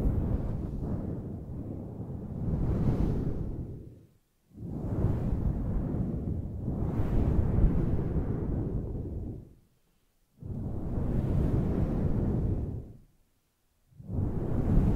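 Long nails scratch and rub a large, fluffy grey faux fur microphone windscreen, producing deep, muffled rumbling swooshes that are heavy in the low end. The rubbing comes in long sustained passes separated by brief silences, with a dull scratchy texture and almost no bright detail.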